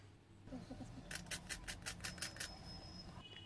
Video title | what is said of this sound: पूरे परिवार के लिए बनाएं बस कुछ ही मिनटों में - सिर्फ दो उबले आलू से ढेर सारे क्रिस्पी स्नैक्स | आवाज से पता चल रहा होगा कितने क्रिस्पी स्नैक्स हमारे बन करके तैयार हो गए हैं। और तोड़ कर दिखाते हैं।